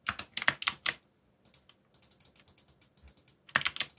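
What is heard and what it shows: Bare fingertips type on a backlit black mechanical keyboard with plastic Korean-labeled keycaps, giving continuous key presses. Loud bright clacks come in quick bursts at the start and end, with a run of softer, lighter taps in between.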